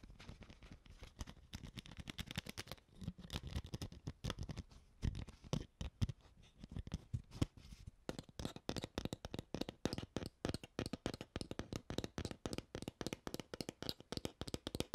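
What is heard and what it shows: An empty, hollow, clear PET water bottle with a plastic cap has its cap twisted and its body tapped with long nails. This gives crinkly plastic scratches and short clicks over a hollow, low thump. The taps become a fast, steady run of sharp, bright clicks in the second half.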